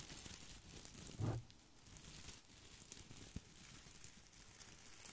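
A head-sized artificial boxwood ball with small plastic leaves is held in both hands over the mic while fingertips scratch and rub the leaves. Close crinkling, tearing-like rustles with a strong low thump come through, the loudest burst around 1.2 seconds, followed by softer scratching and a few sharp ticks.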